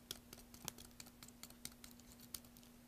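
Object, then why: Bar of soap carved with a metal blade. A metal blade scrapes and carves a solid, partly carved green soap bar held in one hand over soap shavings. The result is a quiet, quick series of short, sharp, bright shaving clicks and scratches with almost no ring, over a faint steady low hum.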